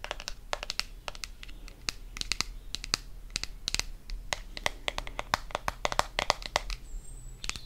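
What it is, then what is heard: Plastic deodorant stick. Fingernails tap quickly on a blue plastic deodorant stick, making a dense run of short, sharp, bright clicks with a light scratchy texture. Each tap is brief and dry, with almost no ring, over a faint low background hum.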